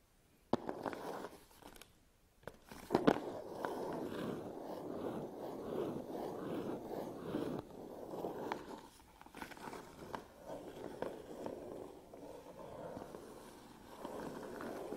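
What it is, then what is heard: Cardboard box, scratched and tapped. Long nails and fingertips scratch and tap the front and sides of a closed, medium-size, red-printed cardboard Canon camera box, presumably with the camera inside. The result is a steady, dry, muffled scratching focused in the low mids, broken by a few sharper taps, with almost no low rumble or bright high end.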